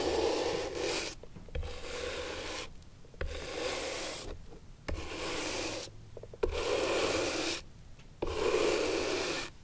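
A bristle brush scrubs back and forth across the worn leather sole of an antique upright leather shoe. Six distinct brushing strokes come through as broadband, raspy rubbing with a mid-range emphasis and bright hiss. Short, quieter pauses fall between the strokes.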